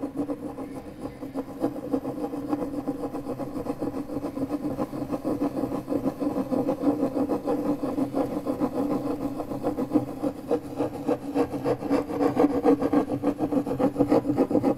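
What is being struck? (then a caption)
Metal key on MDF fiberboard panel. The upright tip of a metal car key scratches circles into the surface of a large, flat, solid pale MDF fiberboard panel. A steady, dry rasping scrape repeats in quick, fairly regular circular strokes. The sound is mostly a mid-low grainy tone with little deep bass or high hiss, and it grows slightly louder toward the end.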